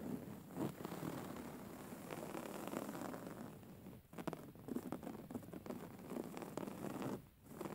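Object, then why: Woven fabric pillow. Long fingernails of both hands scratch the woven-fabric cover of a soft, filled grey pillow. The result is a steady, dense rasping and rustling texture, broken by a few brief lulls.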